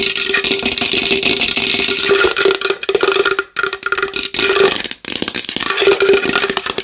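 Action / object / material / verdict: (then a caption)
tap / large wooden bowl / wood / none. A large wooden bowl is tapped fast and hard with long nails, giving a dense stream of bright, clicky taps over a steady hollow tone near 400 Hz. The rapid tapping breaks off briefly twice before picking up again.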